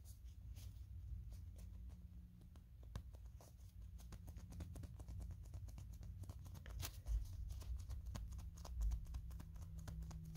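A small pink, yellow and purple molded plastic Kirby toy figure held in the hand, with fingernails tapping and scratching its smooth surface. Many quick, light, irregular clicks and soft scratches sound over a low, steady hum, with a couple of slightly louder taps near the end.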